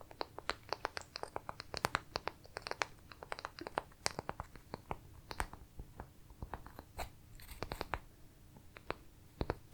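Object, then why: Small wooden pieces. Pieces of wood are tapped and handled, giving a rapid, irregular series of short, dry clicks and knocks. Each tap is sharp and bright and dies away almost instantly, over a quiet low background.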